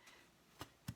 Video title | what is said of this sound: Easy Southern Cornbread! With Danna ▶️Play | you can hear it hear it pop go around like this